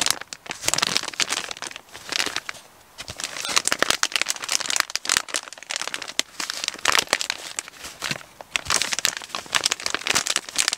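A medium brown kraft paper Amazon padded mailer, hollow and apparently holding an item, is crinkled, rubbed and pressed with the fingertips and short nails. Dense, bright crinkling and dry crackles come in uneven bursts with short quieter gaps, with almost no low end and no ringing after each contact.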